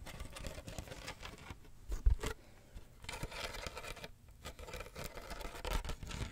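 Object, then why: Woven wicker box with a lid. Fingertips and nails tap and scratch the woven wicker sides and black lid of a medium hollow wicker basket box held beside the microphone. Quiet, continuous rustling scratches mix with soft, dull taps, heaviest in the low end, with a sharper, louder tap around the two-second mark. The sound briefly thins out to near silence before the scratching resumes.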